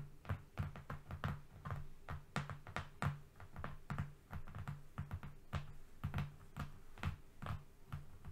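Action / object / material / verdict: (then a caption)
tap / flat cardboard sheet / cardboard / none. Both hands quickly tap a flat brown cardboard strip with short painted nails. The result is a rapid, uneven run of soft, dull taps with a low, hollow body. Each tap dies away almost at once.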